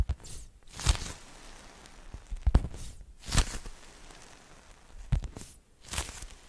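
A soft, solid foam watermelon-slice squishy toy is squeezed and tapped with long nails and fingertips close to the mic. Soft, low thuds and brief bright scratchy swishes come in several bursts over a quiet, muffled background.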